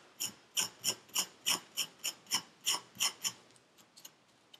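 A metal pick tool, held in gloved hands, scrapes the surface of packed purple kinetic sand in a paper cup. Eleven quick, bright, gritty rasping strokes come in a loose rhythm of about three per second, each dying out almost at once. A few faint, softer scrapes follow at the end.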